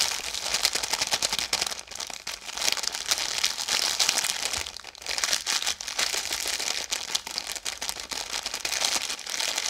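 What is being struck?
Biscuit pack in plastic film.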